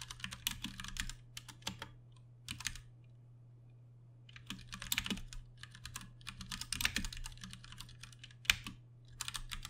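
Both hands type with their fingertips on a Ducky One 2 Mini, a compact 60% RGB-backlit mechanical keyboard with plastic keycaps and Cherry MX Brown switches, resting on a desk. Bursts of quick, bright plastic clacks come in uneven runs with short pauses between them, over a steady low hum.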